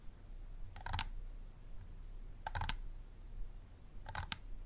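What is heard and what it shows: Fingernails tap on the ribbed sides of a small, empty, clear plastic water bottle with a green cap, standing upright. Three quick bursts of light, dry, hollow clicking come about a second and a half apart, each a short cluster of bright taps that stop at once. A faint low rumble sits underneath.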